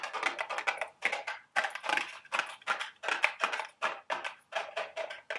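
Long red nails tap and scratch the printed sides of a small cardboard Dubble Bubble gum Easter eggs candy box held in the hands. The result is a quick run of dry, papery clicks and scrapes in bunched bursts, mostly midrange with a bright edge and no low end, each dying away almost at once.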